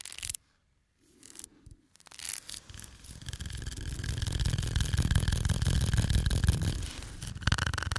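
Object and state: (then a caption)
Cardboard playing card box. Fingernails scratch and tap the faces and edges of a small, full cardboard playing card box held in the hands. A brief burst of scratching and a short pause lead into a few scattered taps, then a dense, continuous scratching builds. The sound is steady, with a deep, thumpy body under a bright, papery rasp, easing slightly before a final flurry.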